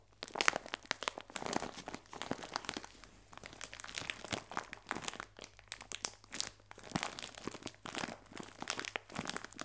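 A clear plastic film bag full of biscuits is pressed and crinkled with fingertips, giving dense, bright crinkling and crackling. The sound comes in short clustered bursts with brief lulls, each crackle dying away almost instantly, with little low end.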